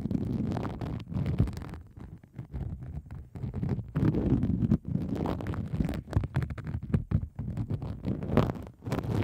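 A hand with long acrylic nails scratches a pink plastic bubble wrap sheet laid over the microphone. The close scratching comes through as a dense, muffled, low rumble of rapid crackling bursts, dipping quieter around the second and fifth seconds before resuming.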